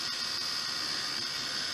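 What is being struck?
Nothing is struck.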